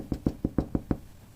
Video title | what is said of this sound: Хліб на залишках закваски Левіто Мадре #bread #sourdough #sourdoughbread | чули глухий звук гарний блістерний гарний хлібчик